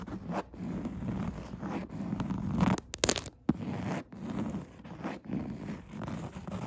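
Long red nails scratch and tap across a padded chair seat with coarse woven upholstery. The result is a series of rough, raspy scratching strokes with a low, muffled body, separated by brief pauses and a few sharper taps.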